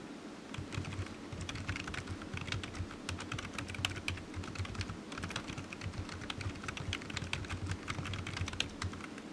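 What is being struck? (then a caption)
Plastic computer keyboard. Fingertips of one hand type on a solid, black, low-profile plastic computer keyboard resting on a desk mat. A steady stream of quick, bright plastic clicks runs throughout, each dying away almost instantly, over a constant low hum.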